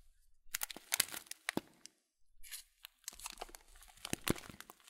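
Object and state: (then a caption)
Plastic bag of oat flakes being crinkled. A full blue Kölln plastic bag of oat flakes, about 500 g, with its top folded, is squeezed and crinkled by both hands' fingertips. Quiet, bright crinkles and crunchy cracks come in bursts, broken by a short near-silent gap around the two-second mark, with the faint rustle of shifting flakes inside.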